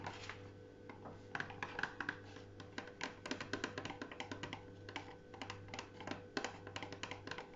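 A small folded paper tent desk calendar resting on a tiled shelf is tapped with fingertips, then lifted, flexed and bent in the hands. Quick, dry paper taps and crinkles come in dense bursts over a steady low hum.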